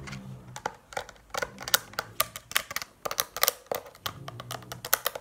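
Long painted nails tap on the rubbery keys and plastic body of a handheld Casio scientific calculator. The result is an uneven run of about twenty sharp, dry, bright clicks with no ring. Faint low tones sit underneath at the start and end.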